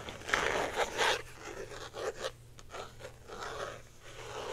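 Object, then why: Small clear plastic box. Long painted nails scratch and tap a small, hand-sized clear plastic case, likely hollow and printed with a colorful lollipop pattern, held in both hands. Dry, crackly scraping comes in short uneven bursts with bright edges and a soft tapping texture, over a faint steady low hum.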